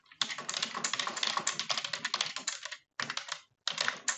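A full-size dark plastic computer keyboard is typed on quickly with long French-manicured nails and fingertips, producing rapid, bright, clicky key taps with almost no ring. The taps come in three dense bursts separated by two short pauses.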